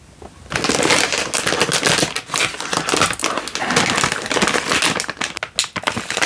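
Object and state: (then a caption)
Instant noodle packet in plastic wrapper. A single full Indomie instant noodle packet in its crinkly plastic wrapper is held in one hand and squeezed with the thumb and fingers. After a brief quiet start, a dense, continuous run of sharp, bright plastic crackles and crinkles fills the rest of the clip, with little low end.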